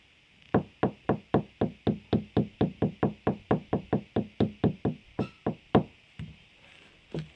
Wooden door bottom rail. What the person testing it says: there's enough wood in there